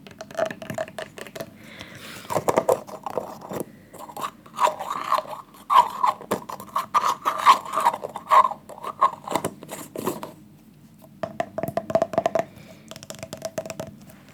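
A plastic hair gel tub is tapped repeatedly with fingers, giving hollow, wood-block-like knocks. The taps come in quick, uneven clusters with short pauses between them. Each knock has a mid-range pitch near 1 kHz and dies away almost immediately.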